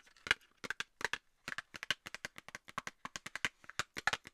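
A small, hollow rectangular Nivea cosmetics cardboard box is held up and tapped and scratched with long nails. The result is a rapid, irregular run of about 28 quiet, crisp, dry clicks and light scratches, bright with a papery mid tone. Each click dies almost instantly, with no low thud.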